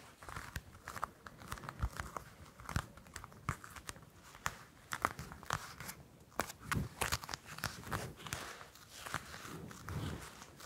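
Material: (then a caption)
Citrus peel. A whole orange is held close to the microphones while long nails scratch and tap its peel. Quick, dry clicks and taps mix with a soft crinkly scratching, spread over a faint low rumble and sharp bright transients.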